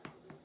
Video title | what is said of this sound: Baking Bread with Charlie Five | flip it over and tap. If it sounds hollow, it's pretty done.